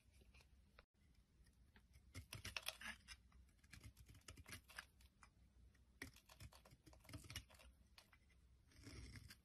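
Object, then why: Bar of soap scraped with a metal blade. A metal blade scrapes crumbly chips off a solid oval green-and-white bar of soap held in the hand. Bursts of dry, crisp scraping and crunching crackle across the clip with bright edges, with quieter pauses and a low rumble underneath.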